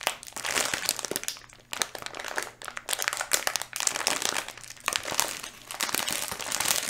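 Fingers crinkle and squeeze a full, small yellow flexible plastic Skittles candy bag held in both hands close to the mic. A dense, bright crackling rises and falls in bursts, with sharp crisp snaps and almost no low end.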